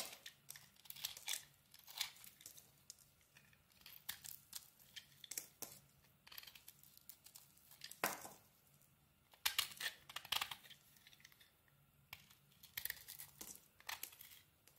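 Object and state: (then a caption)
Bar soap being carved. A solid white bar of soap with a silver glitter coating is held in the hand and carved with a metal blade. Quiet, crisp scraping and crunchy shaving strokes come in irregular bursts, bright and papery with almost no low end. Each cut stops short with no ringing.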